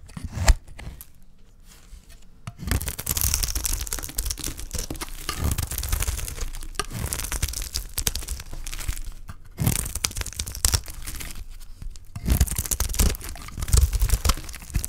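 A dry, solid rectangular green olive soap bar held in the hand is shaved with a utility knife blade, scraping off curls. Crisp, dry scraping and tearing crackles come in long, dense runs, broken by brief quiet pauses near the start and around the ten- and twelve-second marks.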